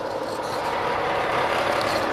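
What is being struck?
Nothing is struck.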